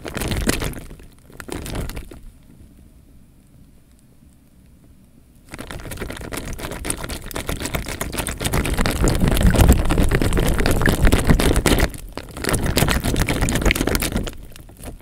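A clear plastic bag filled with water is held at the top and shaken and crinkled by hand, with the water sloshing inside. Short crinkling bursts open the clip, followed by a near-silent pause of about three seconds. Then comes a long, dense stretch of low, heavy sloshing and crackling that dips briefly near the end before a final bout.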